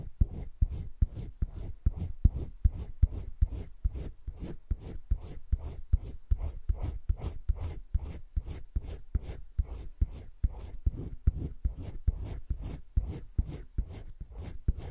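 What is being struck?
Coloured pencil on thick drawing paper.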